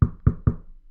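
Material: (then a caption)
Wood. Three knocks on a wooden desk, evenly spaced, each a dull, low thud with a short decay. The desk sounds solid.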